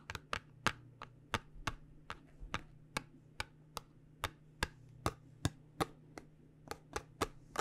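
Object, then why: Small paperboard box. A small, cube-shaped white printed paperboard cosmetic box for Gron Rejuvenate, holding a product jar, is tapped with long dark-painted nails. About 21 sharp, dry clicks arrive in an uneven rhythm, each very short and bright with a hollow papery knock and no ring. A faint steady low hum runs underneath.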